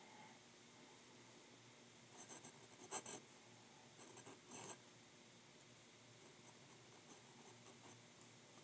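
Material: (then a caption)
Paper. A fine glass nib of a glass dip pen scratches across a sheet of white lined writing paper held still on a desk as a hand writes words in blue ink, with an ink bottle nearby left untouched. Soft, bright, dry scratching runs throughout over a low hiss, with louder strokes clustered around the middle and smaller scratchy bursts near the end.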